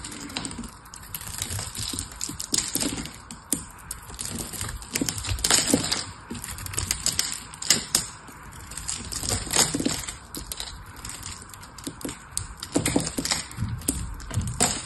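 A metal knife scrapes and cuts a hand-held dry soap bar with a blue coating and purple inside, shaving it into flakes. Dense, crisp crackling and rapid bright clicks run throughout, with short sharp spikes that die away almost instantly.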